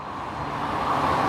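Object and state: Nothing is struck.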